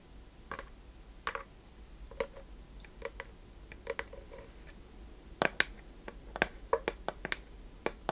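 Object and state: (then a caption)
Small wooden chest box. Long painted nails tap and scratch the worn wooden underside and side of a small hollow wooden treasure chest box with metal fittings, held tilted up in the hands. Sharp, dry clicks ring around 1.6 kHz with a bright edge and die away almost instantly. They come in irregular bursts that get denser and louder toward the end, with faint scratching and a low steady hum between them.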